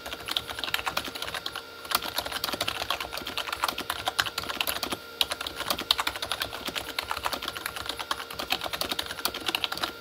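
Both hands type with their fingertips on a full-size Corsair K35 plastic mechanical keyboard with red-backlit plastic keys. The result is a rapid, steady stream of short, bright plastic clacks, with brief lulls near the two- and five-second marks.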